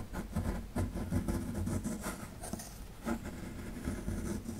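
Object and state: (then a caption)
Plaster fossil dig block being scraped. A metal pick scrapes at the lower right area of a solid plaster fossil dig block. The result is a steady run of gritty, low-heavy scratching with short louder strokes and dull scraping texture throughout.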